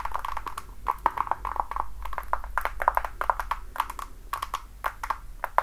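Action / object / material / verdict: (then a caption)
tap / patent leather platform high heel shoe / patent leather / none. Long dark nails tap and scratch the toe and platform of a worn red glossy patent-leather platform high heel with a thick sole and block heel. The result is a quick, uneven run of crisp, dry clicks with a hollow tone around 1 kHz, mixed with soft scratching. A faint low hum sits steadily underneath.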